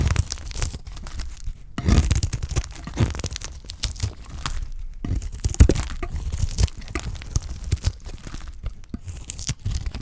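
A dry, solid pale cream bar of white soap is held in the hand and shaved with a utility knife blade, flakes peeling off as it goes. Rapid dry scraping and crunchy, tearing strokes repeat throughout. Short bursts come with brief pauses between them, and most of the energy sits low with a little crisp high texture.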